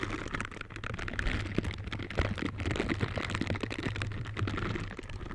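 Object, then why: Silicone bristle scrubber gloves. Pink silicone scrubber gloves with bristles are worn on both hands, and their bristled finger surfaces rub against each other close up. The result is a steady, dense stream of soft crackling, ticking rubs over a low, muffled rumble, with brief brighter clicks scattered throughout.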